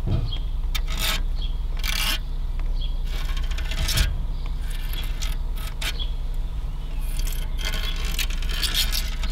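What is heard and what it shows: Fingertips and long nails scratch and rub across the thin vertical fins of a large, dusty aluminium car radiator lying inside an abandoned car. Bright, raspy scraping bursts come and go over a steady low hum.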